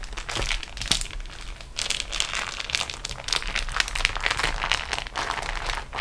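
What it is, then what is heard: Beeswax-coated cotton food wrap. A sheet of beeswax-coated cotton food wrap is rolled up on a table while fingertips and long nails press and roll it. The result is a continuous stream of sticky, bright crinkling and crackling, with quick dense snaps over a faint low rumble.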